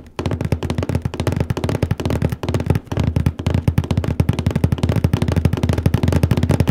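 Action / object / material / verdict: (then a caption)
tap / large cardboard box lid / cardboard / none. Fingertips and nails scratch and tap rapidly in one spot on the lid of a large printed cardboard paper case box. The result is a steady run of quick, dull, low thumps with short scratchy bursts and almost no ring, continuing through the whole clip.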